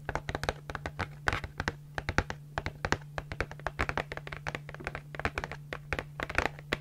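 A small, hollow, printed yellow and red cardboard candy box is held in both hands and tapped and scratched with long acrylic nails. Quick, dry clicks and scratches come in a steady, busy stream with very little ring, over a constant low hum.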